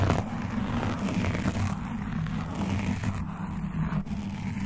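Long dark nails and metal claw nail rings on both hands alternately scratch a soft, porous black foam windscreen over a large condenser microphone, moving around the foam and picked up directly by the mic. The result is a continuous muffled, rumbling scratch-and-crackle texture, heavy in the low end with little high sound, holding a steady level throughout.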